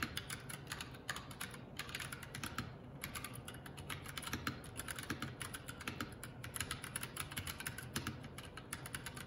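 Both hands type continuously with their fingertips on the plastic keycaps of a Keycool K84 75% mechanical keyboard. The result is a steady stream of quick, bright clicks and clacks over a low, dull thud from each keypress.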